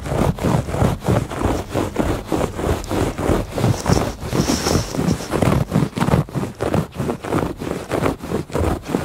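Fingertips and nails scratch back and forth across the weave of a woven textile rug. The result is a steady run of dry, rough scratching strokes with a low, muffled body, and a faint high hiss appears briefly midway.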